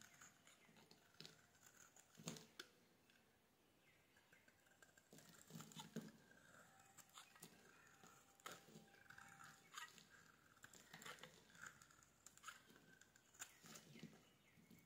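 A hand-sized solid red bar of soap, held in one hand, is shaved and carved with a metal blade, peeling curls and shavings onto a wooden-look surface. Quiet, crisp scraping and crackly patter come in short bursts with bright, airy detail and a few sharper clicks between softer passes.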